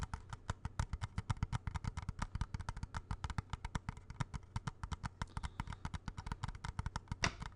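Fingertips and nails tap quickly on the casing of a small hollow plastic video game cartridge held in both hands. A rapid run of about fifty short, dry clicks has a hollow low thump beneath each one and almost no ring between taps.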